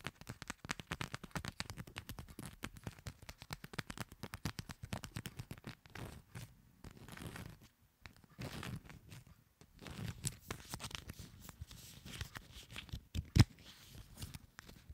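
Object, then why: Coated paper playing cards. Long nails scratch and flick along the edges of a fanned deck of coated paper playing cards, making a quiet run of rapid dry ticks and papery scrapes with brief pauses. One sharp, louder snap stands out near the end.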